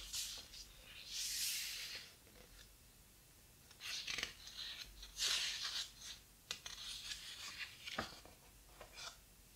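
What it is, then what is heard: Thick hardcover book, pages rubbed and turned. Fingertips and nails rub across the large, heavy paper pages of a thick, open hardcover photo book and turn them. Quiet, bright, papery swishes and rustles come in slow bursts, with a few short, sharp ticks as the pages are handled and flipped.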